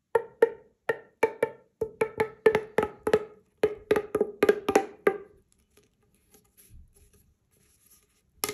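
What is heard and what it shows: A single hollow, magenta corrugated plastic pop tube is compressed by fingers with long nails into a short tube. It gives a fast, uneven run of about 19 sharp popping clicks with a hollow, woody tone near 440 Hz over the first five seconds. Faint rustles follow before a final bright crackle at the end.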